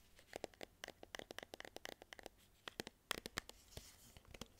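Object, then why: Metal tin can with paper label. Fingernails scratch and tap the green printed paper label of a medium cylindrical metal tin can held in both hands. Around 26 quick, dry, bright ticks and scrapes come in uneven bursts, each stopping instantly with no ring, over a faint quiet background.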